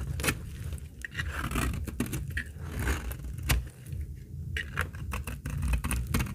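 A utility blade scrapes shavings from the edge of a very old, dry, solid amber translucent laundry soap bar held in the hand. Sharp, crackly scraping strokes and bright clicks sound over a steady low rumble.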